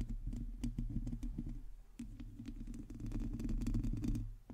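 Long teal nails of both hands scratch a hollow domed metal mesh microphone grille. The result is a dense, irregular run of quick scratches and clicks over a heavy, boomy low rumble, with occasional bright ticks cutting through. The level swells and dips briefly before fading near the end.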